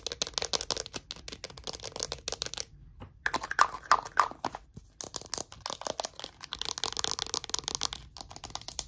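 Short nails rapidly tap and scratch the cap and label of a small hollow green plastic Mitchum roll-on deodorant bottle. A dense run of dry, bright clicks and crinkly scratches is broken by two brief pauses, with a few sharper taps standing out. Each sound dies almost instantly, with little low end.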